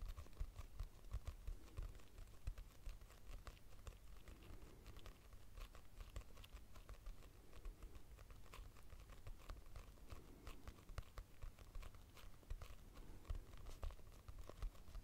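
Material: Cardboard, paper.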